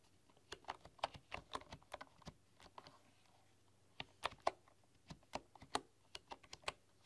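Fingertips with long nails tap fast across a full-size bamboo computer keyboard with wooden keys. The result is a quick run of dry, short, mid-pitched clacks with bright nail ticks. The typing pauses briefly around the middle, then resumes in another burst.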